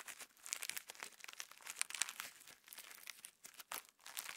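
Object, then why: Clear slime packed with plastic sequins. Fingertips squeeze, fold and pinch a palm-sized lump of clear pinkish slime packed with plastic star sequins above a wooden table. The result is a quiet, continuous stream of bright, crinkly crackles and tiny sharp clicks, with almost no low end.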